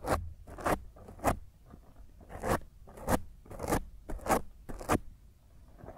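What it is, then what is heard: Foam microphone windscreen scratched. Long nails on one hand scratch and claw at a black foam windscreen over a microphone. The result is a series of rough, broadband scraping bursts that rise into bright hiss, repeating at an uneven pace of roughly two per second. Quieter rustling fills the gaps between them.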